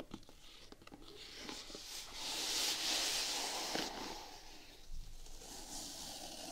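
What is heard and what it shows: A single grey knit fabric Vans sneaker, hollow and held in hand, has its side upper scratched with long painted nails. The scratching is bright and hissy and rises into a dense rasp in the middle of the clip, with a few sharper ticks of nail on fabric.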